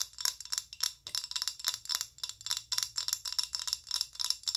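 Long acrylic nails tap and scratch a filled amber rigid plastic body lotion bottle of about 190 ml. About twenty quick, bright clicks come in a rapid run, sharp and high-pitched with almost no ring and no low end.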